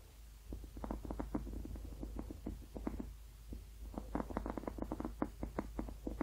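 A blue, ribbed, hollow rubber hot water bottle, apparently empty, is tapped and scratched with painted fingernails across its ribbed surface, with one hand briefly lifted at the start. It makes a quick run of dull, muffled taps with a hollow low-mid tone and short scratchy bursts over a steady low rumble. The taps ease off around the middle and then pick up again in a denser flurry.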